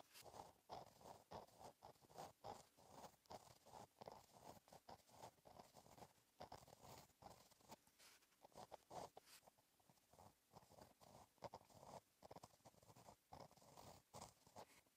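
A gel pen tip scratches across a flat, black, lined notebook page while writing in cursive, making soft, dense, dry scratching strokes. The strokes center in the low mids around 700 Hz with faint high hiss. Each scrape is brief with almost no ring.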